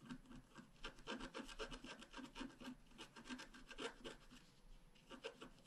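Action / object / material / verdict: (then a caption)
scrape / wax-coated scratch art paper card scratched with a wooden stylus / coated paper / none. A wooden stylus scratches steadily across a thin, flat, black-coated scratch art card. Quiet, dry rasping strokes repeat at a fairly quick, uneven pace, each a short gritty scrape with a bright hiss and a light mid-range body.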